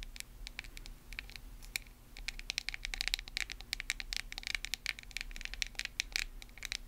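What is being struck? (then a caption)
Small plastic cosmetic jar. Long nails tap and scratch the lid and sides of a small white plastic cosmetic face mask jar. Rapid, dry, bright clicks and scratchy taps come quickly with no ring, growing busier and louder after the first two seconds. A faint low steady hum sits underneath.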